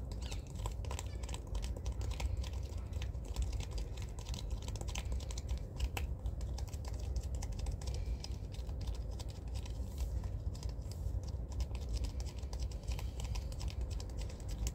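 A hollow, soft white and brown plastic shaving cream tube is held horizontally in both hands and tapped and scratched along its side with the fingertips and nails. The result is a continuous stream of quick, soft taps and scratchy clicks with bright edges, over a steady, heavy low rumble.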